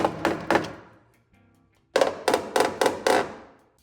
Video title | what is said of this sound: How To Repair Rusty Rocker Panel on 1st Gen 4Runner - Cut, Fabricate & Weld! | este é o som de metal sólido